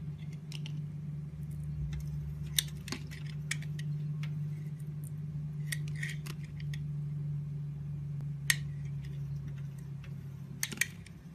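A metal craft blade shaves and scrapes curls off a solid, hand-sized blue bar of soap with flower prints, held in the hand. Crisp, bright scratches and short clicking ticks rise above a steady low hum, with a few sharper snaps standing out as the blade carves.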